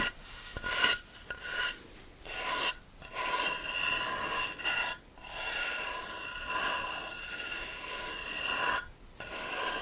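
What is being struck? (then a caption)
Beech wood board. A thick solid beech plank is held flat in one hand while the fingertips and nails of the other hand tap and scratch its top surface and edge. The result is a dry, rasping scratch with bright, steady tonal streaks around 1.4 kHz, broken by a few short pauses.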